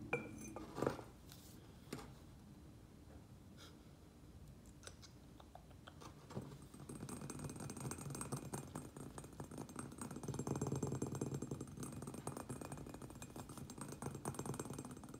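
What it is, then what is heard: Glazed ceramic pot tapped. Fingernails tap fast on the lower sides of a round white glazed ceramic planter filled with soil and a prayer plant. After a few sharp, scattered clicks and a quiet stretch, a dense, rapid stream of short dull ticks builds from about 6.5 seconds and continues steadily to the end, with little ring after each tap.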